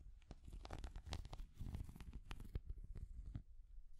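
A small translucent orange hard-plastic cat figure is tapped and scratched with long nails. The result is a dense run of quick, dry clicking taps and scraping scratches over a low, muffled rumble. The taps end abruptly at about three and a half seconds.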